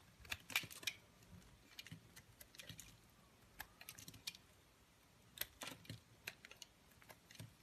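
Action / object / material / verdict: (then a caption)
scrape / soap bar cut with a knife blade / soap / none. A solid, palm-sized beige bar of soap, held in white-gloved hands, is carved with a utility knife blade that scrapes off thin shavings. Quiet, crisp, bright clicks and short scrapes come in uneven bursts, with near silence between them.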